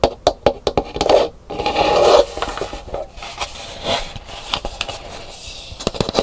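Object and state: Dried calabash gourd bowl tapped and scratched.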